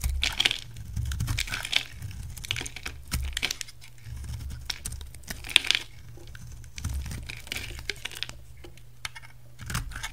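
A utility knife shaves along the rim of a solid, hand-sized green oval bar of soap held in one hand, peeling off green curls. Crisp, bright scraping and crackling cuts come in repeated bursts over a soft low rumble, with short sharp clicks between strokes.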